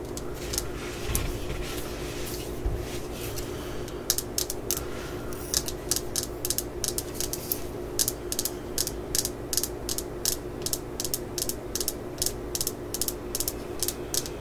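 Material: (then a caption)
Steel. Long acrylic nails tap and scratch on the rusty claw of a solid steel hammer head. Irregular soft scraping in the first few seconds gives way to a quick series of short, bright clicks with almost no ring. A steady low hum runs underneath throughout.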